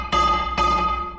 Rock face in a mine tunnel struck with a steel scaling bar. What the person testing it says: you can hear good rock from bad rock